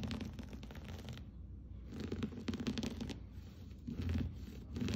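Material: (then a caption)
Textile. Fingertips and nails scratch and rake the fibers of a blue and cream patterned looped-pile textile rug lying flat on the floor. The result is a quiet, dense, raspy scratching with a dull low body that comes in bursts, easing briefly around the first second before picking up again.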